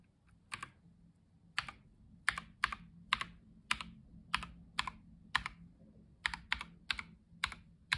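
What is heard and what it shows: Black-gloved fingertips type and press keys on a white Logitech G715 tenkeyless mechanical gaming keyboard with plastic keycaps, resting on a dark surface with a wrist rest in front. Sharp, bright plastic key clacks come one after another at an irregular pace, each dying away almost instantly. A faint low hum sits underneath.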